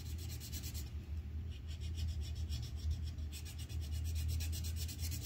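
A red colored pencil tip scratches across a thin white paper coloring sheet on a clipboard in fast shading strokes. A steady, dry rasping repeats in quick, slightly uneven strokes with bright, scratchy highs over a constant low hum.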